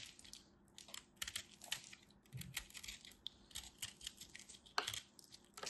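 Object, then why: Pressed soap-flake chunk cut with a craft knife. A craft knife carves and scrapes a small solid chunk of compressed soap flakes held in the fingers. Quiet, bright, crisp scratches and crackly ticks come in short irregular bursts, with little low end. Each sound stops dead without ringing.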